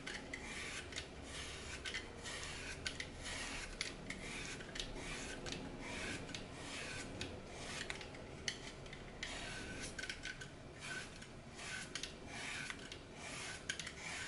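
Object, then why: Glitter-coated floral foam block. A small leftover piece of glitter-coated green floral foam, held over a glass bowl of crumbs, is scraped and sliced with a red-handled blade. A steady, bright, gritty rasping runs throughout, broken by frequent short, crisp crunches as the foam breaks away.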